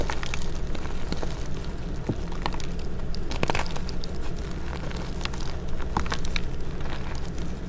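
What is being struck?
Block of gym chalk (magnesium carbonate).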